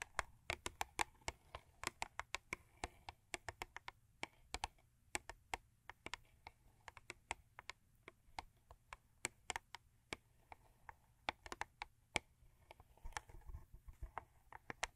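Long acrylic nail tips tap quickly on a thin cardboard Crest toothpaste box lying flat. Dozens of sharp, dry clicks come in an uneven rapid stream, bright and crisp with a papery ring around 2.3 kHz, and each one stops almost at once.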